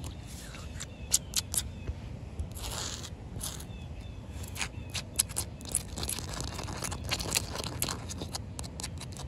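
Short, white-painted fingernail tips scratch and tap across a large, solid, partly wet outdoor concrete slab. Quick, bright, gritty scrapes and sharp clicks stand out over a steady low rumble, each dying away almost at once.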